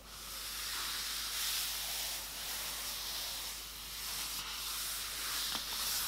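A fingertip traces lines on the matte paper pages of an open hardcover coloring book, the hand turns one page, then fingertips rub flat across the new spread while a loose white sheet underneath stays still. A steady, bright, hiss-like paper rustle with almost no low end, gently swelling and dipping, with a brief crisp tick near the end.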